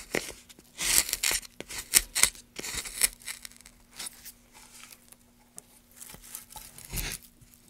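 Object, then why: Pine wood block. A gouge carves and scrapes along a groove in a solid light pine block, making bright, dry, rasping strokes in irregular bursts that stop short with no ring. A faint, steady low hum runs underneath.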